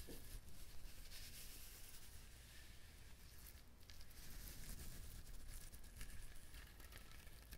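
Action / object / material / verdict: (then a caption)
scrape / whole coconut with fibrous husk / coconut husk / none. A whole coconut is held in both hands while the palms and fingertips rub and tap its fibrous shell. The result is a quiet, continuous dry scratching and crinkly rustle with soft, irregular taps over a low rumble.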